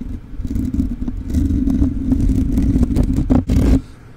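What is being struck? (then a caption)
Metal mesh microphone grille. Fingertips and nails of both hands scratch and rub the bare black metal mesh grille on the hollow capsule head of a rhinestone-covered USB microphone. The result is a dense, rumbling scratch with a steady low hum, broken by brighter raspy scrapes. It swells to a loud final burst before dropping off quiet.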